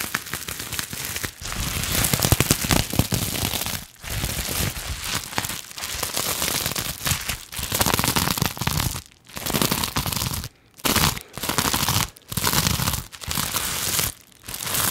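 Long nails and fingers scratch and crinkle a medium sheet or pouch of clear plastic bubble wrap with hollow air cells. The result is dense, bright crackling and crinkling that runs almost continuously, broken by several brief pauses in the second half.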